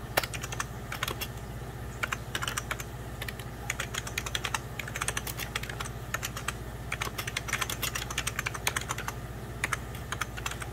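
Fingertips of both hands type on a hollow, beige 1990s Packard Bell plastic computer keyboard. The result is a continuous run of quick, bright, clicky key taps in irregular bursts over a faint, steady low hum.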